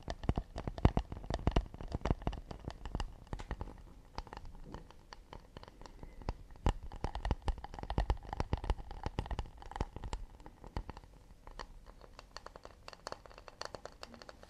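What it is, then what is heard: Acacia wood plate. Fingertips and short nails tap fast and scratch across the underside and rim of an empty, round, hollow acacia wooden plate held upside down in both hands close to the microphones. Dense, irregular dry taps with very short decay and a deep low thump mix with soft scratching that runs throughout.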